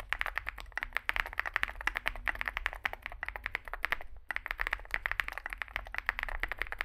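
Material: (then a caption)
Plastic. Fingertips type continuously on a Zoom65, a small 65% mechanical keyboard with a dark case and white and grey SA plastic keycaps. A fast, steady stream of short, crisp clacks plays over a faint low hum, with a brief pause just past four seconds before the typing resumes.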